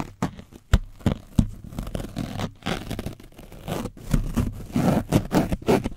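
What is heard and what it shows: A foam brush scratches over the top and side of an orange foam microphone windscreen coated in dried paint. Rapid, irregular scraping strokes produce a dense, low, muffled rustle, broken by sharp crackling taps.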